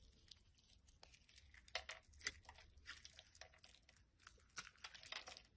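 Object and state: Soap bar being shaved with a blade.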